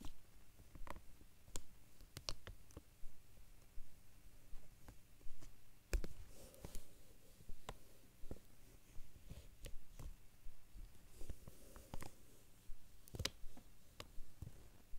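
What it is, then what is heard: Plastic binder cover. Four fingertips with short nails tap and scratch across a large, flat, dark plastic or vinyl binder cover lying flat. Quiet, sharp, dry clicks come at a loose, uneven pace, with soft scratchy rustles in between over a low, steady rumble. Each tap dies away almost instantly.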